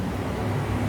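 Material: Nothing is struck.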